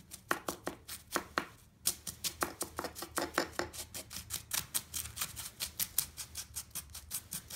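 A serrated knife chops and presses down on a pile of crumbled green floral foam pieces resting on a wooden deck. About 37 short, crisp crunches follow one another in a fast, steady rhythm. Each is bright and dry, with almost no ring and little low end.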